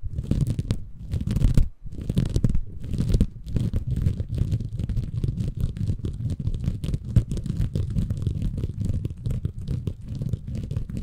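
A small, soft, compressible green porous bamboo fiber sponge, held in both hands above a Tascam recorder, is scratched and squeezed by fingertips. The result is a dense, low, muffled scratching and squishing that runs almost continuously in rapid irregular bursts, with a brief pause near the two-second mark.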